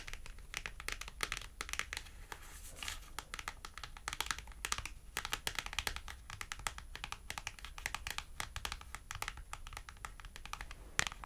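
A thin white printed paper clothing price tag is held by both thumbs and bent while long acrylic nails tap and scratch along its edge. The result is a steady stream of rapid, crisp, dry clicks mixed with bright crinkly scratching, each tick cutting off instantly at a soft, even level.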